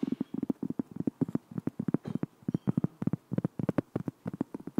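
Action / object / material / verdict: tap / flat round cork board / cork / none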